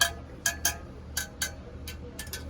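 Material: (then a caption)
Steel. Metal spokes on a supermoto motorcycle wheel are tapped one after another with a wrench inside a van to check their tension by ear. Eight short, bright metallic pings ring around 1.6 kHz and die away quickly over a low background hum. The spokes that do not sound right are then tightened.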